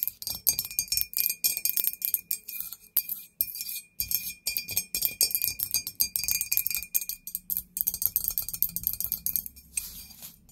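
A white glazed, hollow, medium-sized ghost-shaped ceramic candle holder stands upright and is tapped rapidly and irregularly with long acrylic nails. The result is a dense run of bright, clinking taps with a steady high ring. Each tap is short and dies away almost at once.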